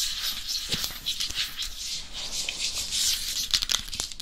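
Long acrylic nail tips tap fast across the face and crown of a head-sized, hollow, matte black hard-plastic dummy head microphone. The result is a dense, steady patter of short, bright clicks that die away almost instantly, with a few sharper taps standing out near the end.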